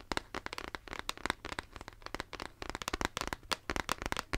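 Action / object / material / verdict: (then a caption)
tap / plastic shaker bottle / plastic / none. Fingernails tap and scratch the lid and body of a pink plastic shaker bottle held close to the mic. The result is a rapid, irregular run of sharp, dry clicks with bright ticking edges and short scratchy rasps between them, each tap dying away almost instantly.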